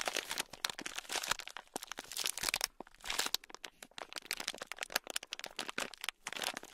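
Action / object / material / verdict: scrape / sealed plastic bag of tiny metal-look beads / plastic, beads / none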